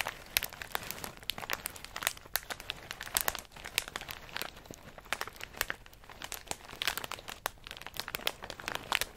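A medium plastic snack bag full of in-shell pistachios is squeezed by hand, then set down and pressed with fingertips. The result is a dense, continuous bright crinkling packed with sharp, short clicks and crunches, with almost no low end. It briefly softens around the middle before picking up again.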